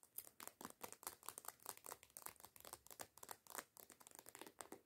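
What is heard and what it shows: Long nails rapidly tap and scratch a white plastic body lotion bottle with a coconut label, lying on its side and apparently full. The quick, dry clicks and crinkly scratches are bright and thin, with almost no low end and virtually no ring after each stroke.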